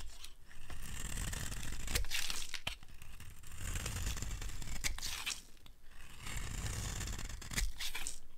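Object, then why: Bar soap scraped with a utility blade. A dry, solid green Palma bar soap is held in the hand and scraped and carved with a utility blade, sending curly shavings off the bar. Steady raspy, crunchy scraping strokes carry a bright hiss over a low rumble, broken by occasional sharp clicks as the blade bites.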